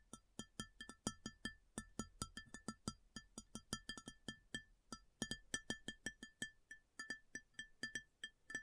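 Long natural fingernails of both hands tap quickly on the top surface of a large, empty, round white ceramic plate with a raised rim, lying flat or upside down on a table. The result is dozens of quiet, sharp clicking taps, each with a brief, bright ceramic ping that dies away almost at once, in an uneven, rapid rhythm.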